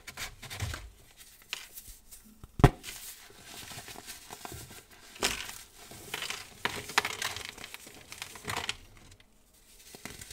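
Fingertips with painted nails squeeze and crush a solid, palm-sized clump of dry green-dyed baking soda from a pile, crumbling it into powder. Soft, gritty crunching and crinkly crackles come in irregular bursts, with one sharp snap early on and scattered louder crunches later.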